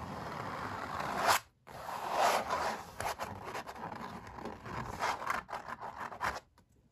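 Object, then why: Stretched painted canvas. Fingertips, with a metal ring worn, rub and scratch across the paint of a stretched oil-painted canvas. A dry, papery scraping fills the first second and a half, then breaks off in near silence before resuming with a swell of rubbing. It ends in a run of short, sharp scratches and taps.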